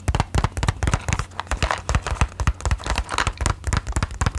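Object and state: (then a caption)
Cardboard matchbox tapped with fingernails. Long nails tap rapidly on a small, closed cardboard matchbox held close to the mic. The taps come in a quick, uneven stream of short, dry clicks, each with a deep, hollow thump and almost no ring.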